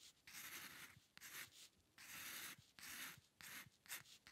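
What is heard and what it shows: The metal nib of a dip pen scratches across a flat sheet of white drawing paper while drawing hair lines. Seven separate bursts of bright, dry scratching are heard, with almost no low end, and each stroke stops quickly with little ring between them.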